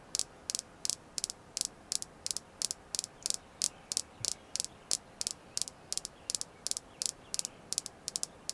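A red jasper crystal stone is tapped steadily about thirty times, each tap a short, dry, bright click with almost no ring and no low end. The taps come at an even pace, some in quick pairs, over a faint hiss.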